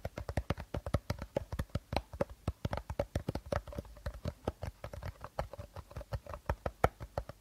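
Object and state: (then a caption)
Empty plastic bottle. Short nails tap quickly and steadily on the body and teal cap of an empty, hollow clear plastic bottle held upright. About 46 crisp, hollow taps sound in quick succession, each with a low thud that dies away at once.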